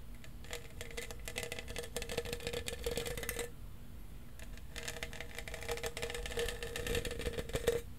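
A tall, hollow lilac plastic tumbler with a studded surface, lid and straw is held in one hand while fingernails scratch and tap across its studs. Dense, rapid clicking and scratching come in two long bursts with a brief quieter gap between them, carrying a faint hollow ring around 470 Hz over a soft low rumble.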